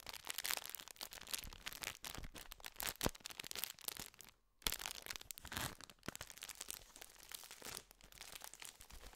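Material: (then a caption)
Metallized plastic. A full, gold foil-lined metallized plastic biscuit tube is scratched and tapped with fingertips. It gives dense, bright crinkling and scratchy rustles with quick, sharp taps, broken by a brief silence about halfway through before the crinkling resumes.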